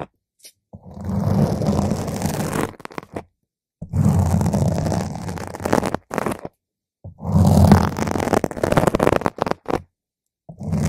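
A single long pointed nail slowly scratches and pokes a round purple foam microphone windscreen. The result is deep, rumbling, close-up scratchy scraping in three long bursts, separated by brief pokes and silences.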